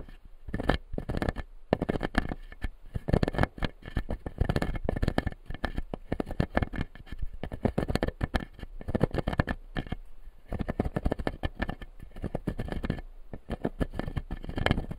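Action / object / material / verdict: scrape / plastic dental model with plastic teeth / plastic / none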